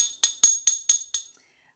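A spoon taps the bottom of a ceramic mug of hot liquid five times before hot chocolate powder is added. Each tap gives a bright, clear ringing tone that stays at the same pitch and fades quickly. This is the steady baseline note of the liquid without bubbles.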